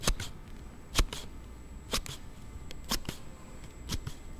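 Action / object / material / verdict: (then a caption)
scrape / hard plastic sliding phone case / plastic / none. A thumb repeatedly slides the card panel of a hard plastic slide case on a Note7 phone. Five sharp, bright snapping clicks come about once a second, each followed by a softer click, over a low, quiet background.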